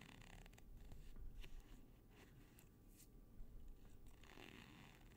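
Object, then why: Nylon hook-and-loop strip. A flat black nylon hook-and-loop (Velcro) strip of thin textile is held in both hands, stretched out, and scratched with fingertips and nails along the hook side, close to but not touching the microphone. The result is a quiet, rapid, zipper-like scratching in uneven bursts over a low rumble, with short bright rasps.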